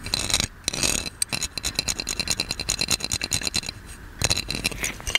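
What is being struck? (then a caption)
Ornate metal lamp. A gold metal magic lamp is held in one hand while a fingernail on the other hand scratches and taps its ornate body. Bright, dry scraping alternates with quick, light taps that give short, high metallic clicks with almost no ring, in uneven bursts with brief pauses between them.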